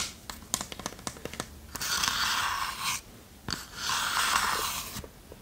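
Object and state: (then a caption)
Wooden chest. Long nails tap the bottom and sides of a small, hollow, varnished wooden chest held in both hands. Quick, light, dry clicks come first, then two longer stretches of bright, rasping hiss separated by a brief pause and a sharp tap.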